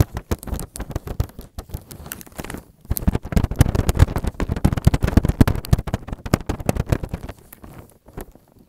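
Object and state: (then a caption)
Plastic cling film tapped. Thin, clear plastic cling film laid flat over a white table, with an earphone mic underneath, is tapped and patted with the fingertips and nails of both hands. The result is a rapid, irregular stream of dull, bass-heavy thumps and soft crackles. The tapping grows denser and louder through the middle, then thins out and fades toward the end.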